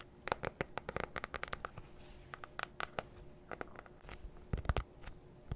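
Long acrylic nails scratch and tap a flat, solid, book-sized black faux-leather notebook cover held close to the mic. The result is a rapid, uneven series of short, dry scratches and clicks with bright edges and almost no ring, separated by quiet gaps. A louder cluster of taps comes near the end.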